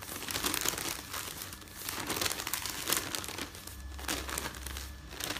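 Fingers with painted nails riffle and flip the pages of a folded stack of thin printed newsprint resting on a bed. Steady bright rustling and crinkling swells and fades as each page turns, with a faint low rumble underneath.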